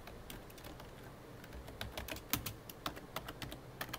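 Fingertips, mostly of the right hand, tap the keys of a full-size black plastic computer keyboard, making clicky typing. Short, bright clicks come at an uneven pace over a soft background, growing more frequent and sharper after the first couple of seconds.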